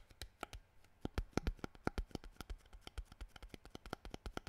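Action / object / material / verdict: tap / plastic water bottle / plastic / none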